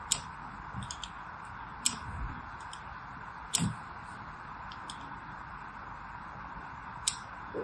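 A metal needle scratches grooves into a solid orange and white striped bar of soap held in the hand. Sharp, bright scratching ticks sound at irregular intervals, with quieter scrapes in between, over a steady low hiss.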